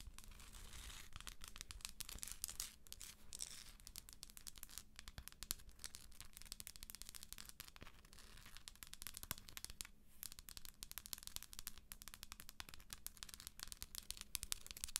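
Long acrylic nails tap and scratch quickly across the top of the textured shell of a hollow plastic galaxy moon lamp. The result is a dense, continuous stream of crisp, bright clicks and scrapes for the full fifteen seconds, with a faint steady low hum underneath.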